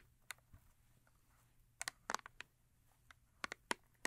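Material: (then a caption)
Paperboard. Long acrylic nails tap and scratch the top face of a small paperboard Yardley soap box lying on fur. About ten sharp, dry clicks arrive in an irregular rhythm, with faint scratching between them. The quiet, bright taps have almost no low end and stop instantly, with no ring.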